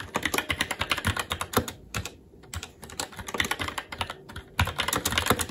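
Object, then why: Mechanical keyboard with plastic keycaps on a metal plate. Fingertips of both hands type continuously on a SteelSeries Apex 7 TKL mechanical keyboard with red linear switches, black plastic keycaps and an aluminum plate. Rapid, crisp key taps with a bright, clacky top and a soft low thud die away almost instantly. The stream pauses briefly around the middle before the burst of typing resumes.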